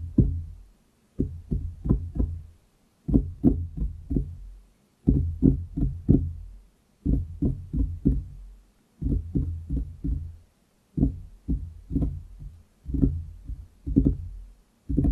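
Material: Wood.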